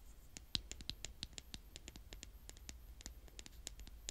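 A blue plastic toy spade, held with fingertips and long painted nails, is repeatedly scraped across a mound of brown kinetic sand. The result is quiet, irregular crunchy scratches with short, bright crackling ticks over a faint low rumble.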